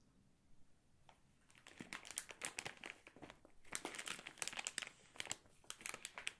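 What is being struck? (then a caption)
Plastic film candy bag. A full Katjes gummy candy bag made of crinkly plastic film is held and squeezed with fingertips and nails. After a quiet first second, dense bursts of bright, sharp crinkling build up and continue in irregular clusters, each crackle dying away almost instantly.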